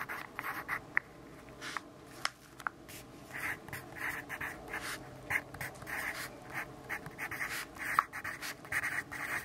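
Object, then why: Graphite pencil on paper notebook page. A graphite pencil writes on the page of an open grid-paper notebook resting on a wooden desk. Short, dry scratching strokes come in quick bursts, bright and papery with a gritty edge. Faint soft ticks fall between the strokes.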